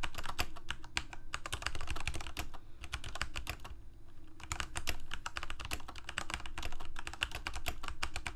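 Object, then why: Plastic mechanical keyboard. A full-size Corsair mechanical keyboard with plastic keycaps on mechanical switches, a hollow plastic case and blue backlight is typed on rapidly by the fingertips of both hands. Fast, dense clicky keystrokes with short, bright attacks over a low, thumpy body run throughout, with a brief slower patch near the middle.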